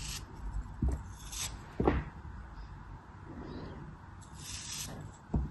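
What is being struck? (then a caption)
Packed kinetic sand block. A craft blade slices and scrapes the edges of a small, solid, packed chunk of pink kinetic sand held between fingers with long pale nails, and the sand crumbles off. Soft, low, dull cuts punctuate a quiet, gritty rasping, with brief bright hissy scrapes in between.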